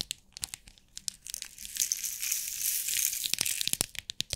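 Long nails tap and scratch the lid of a small clear plastic compartment box holding rhinestones, making sharp, bright clicks. Partway through, the box is held up and shaken, and the stones rattle inside in a dense, hissy wash. Crisp tapping then returns at the end.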